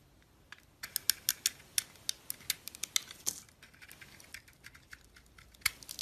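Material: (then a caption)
Soap. A box-cutter blade peels the purple glitter coating off a solid pink soap bar held in the hand, then shaves the pink soap underneath. About twenty crisp, bright scraping ticks and crackles come in quick bursts, each dying away almost instantly. The busiest stretch is early, followed by softer, sparser scrapes.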